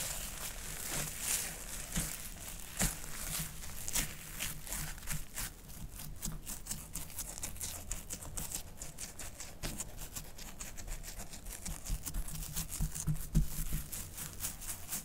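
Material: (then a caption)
Polymer. Fingertips and long nails of both hands scratch, press and rake through a large pile of fluffy white expanded instant snow, a hydrated polymer, on a clear tray. A dense, irregular stream of soft crunching, crinkling and quick scratchy clicks runs throughout, with brief brighter crackles standing out.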